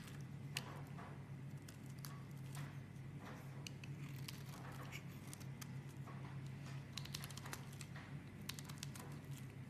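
A metal blade scrapes and shaves flakes off a solid, star-shaped bar of yellow soap held in a hand with painted nails. The sound is a quiet, steady run of soft, crinkly scraping with many brief bright ticks and crackles over a constant low hum.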